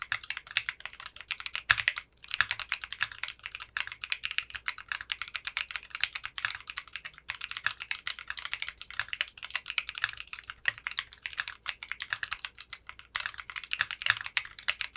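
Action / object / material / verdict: tap / mechanical keyboard with plastic keycaps / polycarbonate / none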